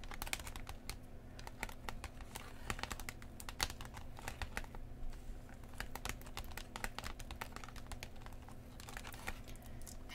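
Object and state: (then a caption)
Plastic blister pack with cardboard backing. Long painted nails and fingertips of both hands tap across the clear plastic front of a book-sized Pokemon TCG three-pack blister, a hollow shell over a printed cardboard card with sealed card packs inside, lying flat on a cloth. Quick, dry clicks with very short decay come in a steady stream, with light plastic crinkles over a low hum.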